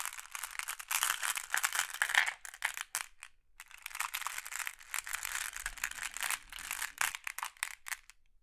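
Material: Glass.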